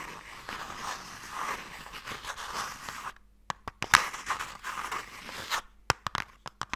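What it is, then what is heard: Wooden box lid scratched and tapped. Long nails scratch and tap across the lid of a closed wooden Mikado box. A continuous dry, papery scraping fills the first three seconds, then sharp, bright taps and short scratches follow with brief silences in between, ending in a quick series of crisp clicks.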